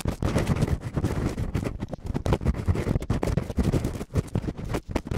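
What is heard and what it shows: Latex-gloved fingertips quickly scratch and rub both small, hollow, soft silicone ear covers of a binaural microphone. The result is a dense, continuous stream of muffled, bassy rubbing and crackling scrapes with frequent brief dips, and almost no brightness.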